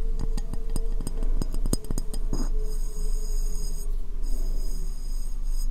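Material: Ceramic.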